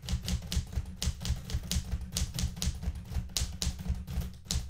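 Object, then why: Metal manual typewriter. Fingertips with red-painted nails type continuously on a blue metal portable manual typewriter with plastic keys. About thirteen quick, dry key and typebar clacks follow one another, each a sharp bright click over a heavy low thump. Each hit dies away almost instantly.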